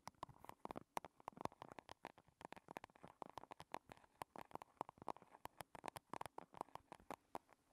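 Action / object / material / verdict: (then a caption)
tap / small metal compact case / metal / none. Long red fingernails from both hands tap rapidly on a small, rigid, hollow, shiny silver square chrome metal cosmetic compact case resting on a table. The dozens of quick, clicky taps have a hollow metallic tone centred near 940 Hz and die away almost instantly.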